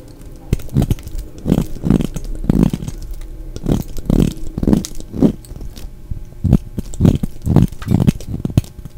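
A solid, dry purple bar of soap held in the hand is shaved with a utility knife blade, curling off shavings. Each stroke makes a short, dry, crunchy scrape, heavy in the low end. The strokes repeat in a steady, uneven series.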